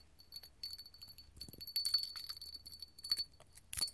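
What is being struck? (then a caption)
Small clear glass candle holder tapped with metal claws. A small, hollow, empty clear hobnail glass candle holder is held in the hand and tapped with long gold metal filigree claws. Quiet, rapid, bright clinks and scratchy ticks follow one another, with a thin high glassy ring running under them. The taps end short, with almost no low end.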